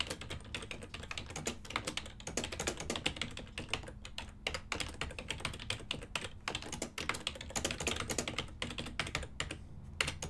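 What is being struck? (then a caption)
Plastic computer keyboard. Fingertips type continuously on a full-size ergonomic silver and black plastic desktop keyboard with hollow key switches. The result is a steady stream of quick, bright, hollow clacks with a short decay, over a faint low hum.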